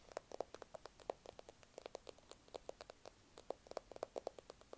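Fingertips and nails tap and click on the back and edges of a small smartphone in a solid black plastic case. About 33 quick, dry clicks come in an uneven patter, each with a short woody tone near 520 Hz and a faint bright tick. They stop almost instantly over a quiet hiss.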